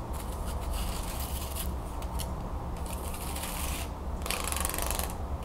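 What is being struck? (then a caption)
Wooden folding fan with thin slats. Long pink nails scratch and flick along the thin perforated wooden slats of a medium-sized, open wooden folding hand fan held over a table. Bursts of bright, dry rasping come and go over a steady low hum that stays present throughout.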